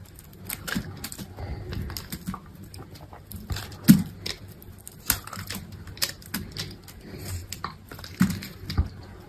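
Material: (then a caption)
Soap. A metal box-cutter blade shaves thin curls and slices from a solid white bar of soap held in the hand. The result is a quiet, uneven run of soft scraping strokes with dull, low-weighted cutting ticks that stop quickly, and a few louder, crisper cuts stand out.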